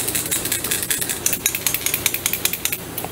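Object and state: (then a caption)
Frog fishing lure with internal rattle. A plastic Big Bart frog fishing lure is shaken so its medium internal rattle knocks back and forth, producing a rapid, uneven series of sharp, bright clicks. The rattle gives a crisp knocking sound that is praised as sounding good.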